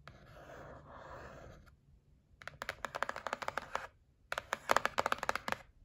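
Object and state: Cardboard box tapped with nails.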